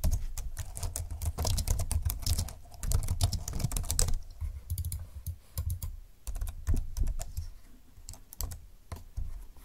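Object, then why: Plastic slim computer keyboard. Fingertips type and tap on the plastic keys of a slim computer keyboard, hands moving across its left side. Quick, dry clicks with a soft low thud come in a dense run for the first four seconds, then thin into sparser taps with short pauses, each click bright and gone almost at once.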